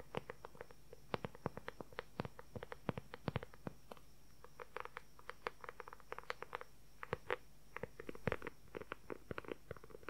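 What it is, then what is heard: Leather journal cover, tapped and scratched. Fingertips and nails tap and scratch a dark brown leather journal cover held upright at an angle. Quick, dry taps and clicks come in a rapid, uneven patter, each dying away almost instantly, with a short scratchy rustle near the end over a faint low hum.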